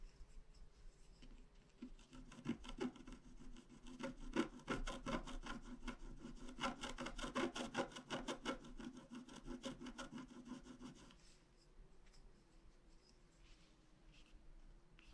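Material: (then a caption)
Coated paper. A wooden stylus scratches line strokes into a flat, black-coated scratch art card about A4 in size. Quick, rasping scratches come in a dense, steady rhythm for about nine seconds, then soften into lighter, sparser strokes. A faint low tone hums underneath throughout.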